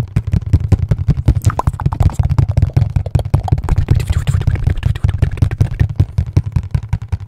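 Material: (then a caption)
Cardboard. Fingertips tap and knock rapidly on the face of a hollow, dark printed cardboard box held close. The result is a dense, uneven run of short, dry, low hollow thumps with almost no ring.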